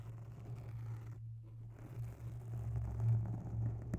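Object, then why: Foam microphone windscreen. Long bare natural nails scratch slowly along the side of a soft, porous grey oval foam windscreen on a microphone. The result is a muffled, deep rumbling scrape that stays almost entirely in the low range, softening briefly in the middle before swelling again, with a small sharp click near the end.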